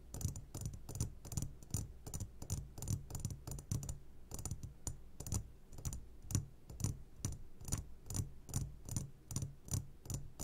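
Short fingertips of both hands tap the sides of a medium glass jar, held upside down and full of sugared gummy candies. The result is quick, irregular clicky taps with bright, glassy tops over a low thumping body, each dying away almost at once.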